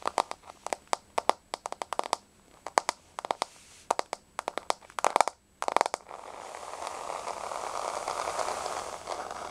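Long nails tap rapidly on a solid, flat wood-grain laminate floor, making dozens of sharp, dry clicks with almost no ring and a tone centred around 770 Hz. For the last few seconds they scratch across the surface in a steady, bright rasp.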